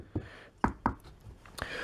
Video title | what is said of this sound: Quick Vid: Grave Marker part 2, Paper Rocks | it's still a plaster wrap, so it's not soft foam. It's hard. You can hear as I knock on it.